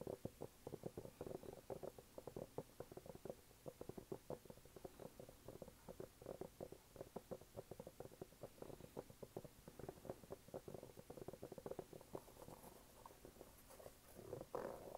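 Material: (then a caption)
Rubber. A red canvas sneaker is held upside down while fingertips and nails tap and scratch its waffle-pattern rubber sole. The result is a fast, steady stream of soft, muffled low-mid taps with a faint scratchy texture, ending in a slightly louder swell of scratching.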